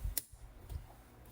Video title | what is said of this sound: How to make hard boiled eggs that peel easily | just slightly cracked and you heard the little tapping sound